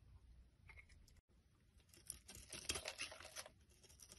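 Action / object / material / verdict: scrape / bar of soap scraped with a blade / soap / none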